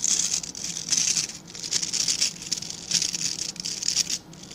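A small dark-grey rectangular brush with dense, stiff bristles is held in both hands while fingertips and nails scratch and flick the bristles. The result is a bright, crackly scratching hiss that swells and fades in uneven bursts, with almost no low end.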